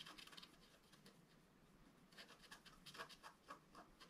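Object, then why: Black-coated scratch-art paper scraped with a wooden stylus. A wooden stylus scratches the black coating along the right side of a flat scratch-art card, about A4, lying on a table. Quick, dry, bright scraping strokes come in short bursts, quieter in the middle and sharper and more frequent toward the end.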